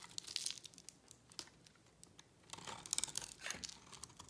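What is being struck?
Bar of soap scraped with a blade.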